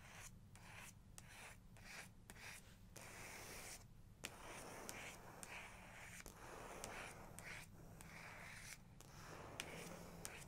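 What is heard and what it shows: A fingertip and a long nail rub and trace over a printed photo on a paper page of an open large photography book. Soft, dry rubbing and scratching strokes come in short bursts, with occasional bright ticks over a steady low hum.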